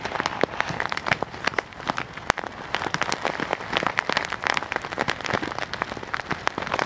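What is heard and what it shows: A clear plastic bag full of white beads is held flat in both hands and squeezed and rubbed with the fingertips close to the mic. The result is a dense, steady crinkling and crackling with many sharp, bright clicks over a gritty rustle, with little low end.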